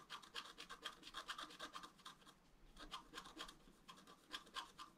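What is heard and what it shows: A wooden stylus scratches horizontal strokes on the basin rim drawn on a flat, black-coated scratch art paper card. The result is a quiet, rapid, uneven run of short, dry, bright rasping strokes centered around 1 kHz, with a brief lull midway before the scratching resumes.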